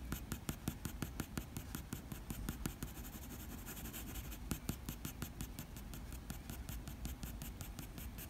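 A black wooden graphite pencil makes short fur strokes above an eye on a sheet of drawing paper. It produces a quick, uneven series of dry, scratchy taps and scrapes over a soft, low background. Each stroke is a brief, bright scratch that dies away almost instantly.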